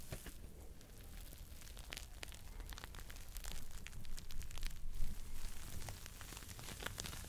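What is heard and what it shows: Fingertips squeeze and scratch a smiley-face foam scrub sponge held close to the mic, working both its yellow foam and its pink scouring side. Irregular crackling, rustling scratches ride over a steady low rumble, with brief bright ticks. The scratching grows louder and denser around the middle before easing off.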